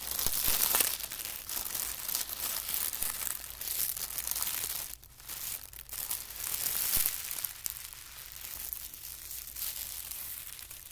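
A folded band of thin white tissue paper is pressed flat with the fingertips, then pinched and folded. The result is a steady, bright, hissy crinkling and rustling, with brief pauses near the middle before the crackle resumes and gradually softens.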